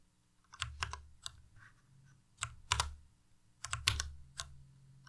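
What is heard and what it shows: Slow fingertip presses on the arrow and other keys of a white Ducky Miya Pro tenkeyless mechanical keyboard with plastic keycaps produce about a dozen irregular taps in small clusters. Each tap pairs a bright, crisp click with a low plastic thump that dies away almost at once, and quiet gaps fall between the clusters.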